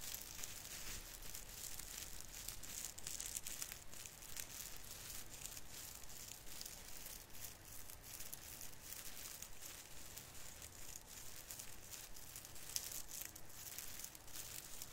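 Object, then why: Plastic needles of an artificial fir branch. Fingertips crinkle and rub the plastic needles of a small artificial Christmas fir tree's branches. Continuous quiet, bright crackling and rustling with many rapid, uneven ticks runs throughout, over a faint low rumble.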